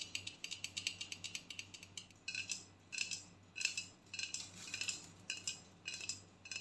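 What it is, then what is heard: Aluminium aerosol can tapped with fingernails. A hollow aluminium aerosol body spray deodorant can is tapped with long nails, first while standing upright and then turned on its side and tapped along its body. The taps are quick, bright and metallic, ringing around 2.6 kHz and fading almost at once, coming in a fast patter at first and then in irregular clustered bursts.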